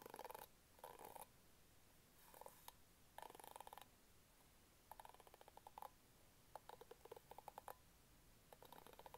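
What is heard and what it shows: Fingertips and nails scratch and flick the pink bristles of an orange plastic hairbrush. Short bursts of dry, scratchy rasping centered in the midrange alternate with quiet gaps, and some passages break into rapid, crisp ticking flicks. The overall level is soft and close.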